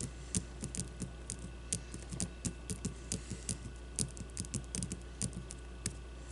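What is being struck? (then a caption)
Leather-covered baseball. A solid white leather baseball is turned between the hands while long nails scratch and tap its surface. Short, dry clicks and scrapes come in a steady, uneven series with bright tops, over a constant low hum.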